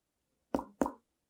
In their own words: Vamos lá. Som maciço. Som maciço. Observe que é um som mais seco.